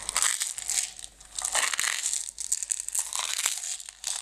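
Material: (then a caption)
Plastic. Long red nails tap and scratch the sides of a closed clear plastic jar full of green decorative stones. The result is a bright, dense crinkly crunching and rattling in irregular bursts that swell and fade, with almost no low end.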